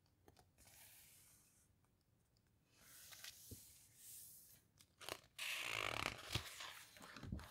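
Long nails and fingertips rub, squeeze and scratch the glossy pages of an open hardcover guitar book and lift a page edge. The result is soft, bright rustling and papery scratching with a few sharp crinkles and taps, growing louder into a dense crackling rustle toward the end.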